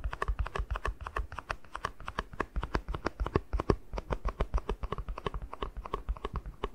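Fingertips tap quickly and steadily on the base of a small, hollow, empty white plastic cup. The result is a dense stream of dry, hollow clicks over about seven seconds, each with a low thump and a short mid-pitched knock that dies away almost at once.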